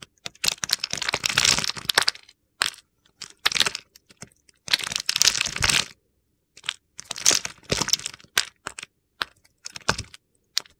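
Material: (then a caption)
Soap. A utility knife cuts and scrapes small cubes off the face of a solid green bar of soap, and the cubes crumble away. Bright, gritty crackling comes in bursts of varying length separated by brief pauses, with little low-end body.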